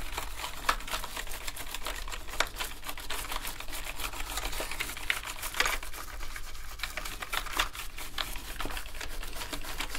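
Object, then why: Plastic keyboard keycaps. Two toothbrushes held in gloved hands scrub the keycaps of a black plastic gaming keyboard. The result is a dense, continuous bristly scratching with many quick ticks and clicks across a bright range, plus a few sharper clicks standing out.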